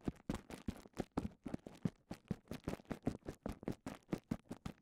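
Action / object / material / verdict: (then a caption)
scrape / plastic bubble wrap / plastic / none. Fingertips scratch and rub the surface of a clear plastic bubble wrap cone held in one hand. A rapid, steady series of short, dry crinkling scratches is heard, each a soft broadband burst from low to high that stops almost instantly. The overall level is quiet.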